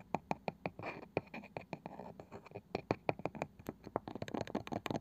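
Long nails tap and scratch on the light wooden lid of a small, round, likely hollow box with a woven cane side. Quick, dry, sharp taps come in a rapid, uneven run, mixed with rough scratching bursts. The clicks die away almost instantly with no ring.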